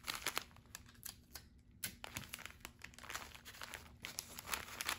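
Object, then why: Kraft paper gift bag. Fingertips fold a flat, thin, hollow brown kraft paper gift bag, apparently holding a bookmark, and press the folds down flat on a wooden table. Bright, crisp crinkles and sharp paper snaps come in quick bursts, with a brief lull before the rustling picks up again.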